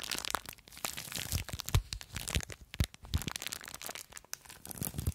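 Long acrylic nails scratch, squeeze and crinkle a small clear plastic bag full of blue polystyrene foam beads. Dense, dry crinkling and crunching crackles come in quick uneven bursts, with bright crisp rustle over soft low thumps from the squeezing. Each sound stops almost at once, leaving close, busy texture with no ring.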